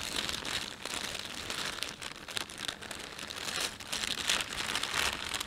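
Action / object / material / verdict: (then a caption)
scrape / thin plastic shopping bag / plastic film / none. A thin, empty panda-print plastic shopping bag is rubbed with fingertips while the thumbs pinch and crinkle the film. The result is a steady, uneven stream of bright crinkling and crackling with brief sharper crunches, mostly high in pitch with almost no low end.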